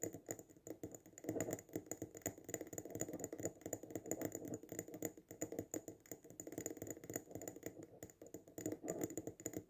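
A small glass jar filled with sand and a fake succulent, resting on a table, is tapped fast on its sides with fingertips and short nails. The result is a steady stream of quick, dry clicking taps with a mid-range body and bright, crisp ticks that die away almost instantly.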